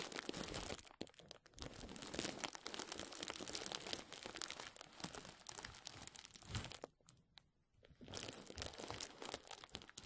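A rolled tube of clear plastic bubble wrap is rubbed and crinkled with fingertips just above the microphone. The sound is a dense, bright crackle of many small crinkles. It nearly stops around the seventh second, then resumes after a short, quieter gap.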